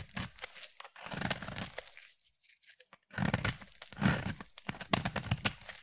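A utility knife blade shaves fine strands off a solid yellow bar of soap, making dry, crunchy scraping and tearing strokes in quick bursts. The shaving runs for about two seconds, drops to near silence for about a second, then resumes with sharper, denser strokes until the end.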